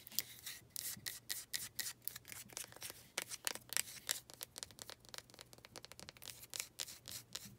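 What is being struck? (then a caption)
Small wooden pot. Long red nails scratch and rub across the grain of a small faceted wooden planter, making a quick run of dry, bright scraping strokes with short, crisp attacks. The strokes are mostly high and hissy with almost no low end, and each one stops almost at once.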